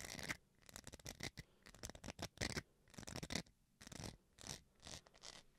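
Fingernails scratch the textured face of a small, solid white plastic rice paddle. The result is a series of dry, raspy scratching bursts, bright and broadband, with quick strokes grouped into flurries and separated by short quiet gaps. Each stroke stops almost instantly with no ring.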